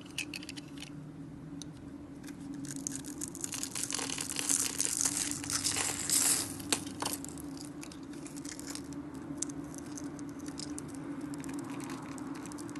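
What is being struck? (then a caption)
Bar soap scraped with a small metal blade. A small metal blade scrapes and cuts little cubes off a solid, dry, palm-sized pink soap bar. The bar is pre-scored into a grid and held in a hand with long painted nails. Dense, bright crunching and crackling fill the clip as the cubes crumble onto a glitter surface, peaking in the middle before settling into steadier scraping.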